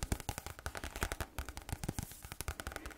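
A medium green spiral-bound notebook with a card cover and paper pages, held close to a microphone, is tapped quickly with fingernails on its cover and edge. The result is a rapid run of short, dry, bassy clicks with almost no ring.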